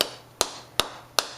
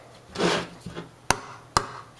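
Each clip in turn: First: tar-filled condenser can, solid on the bottom. Second: hollow spot in a tar-filled metal condenser can.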